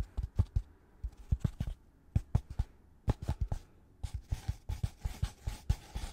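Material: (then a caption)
Polystyrene foam. A white polystyrene foam packaging insert with two recesses is held upright and tapped and scratched with gloved fingertips. Quick bursts of dull, low thuds with no ring are heard, followed by scratchy, hissing brushes across the foam between the taps.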